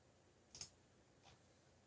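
Fingertips tap the keys of a backlit black plastic mechanical keyboard while typing. A sharp, bright click comes about halfway in, followed by a fainter click later, with very little ring over a quiet steady hiss.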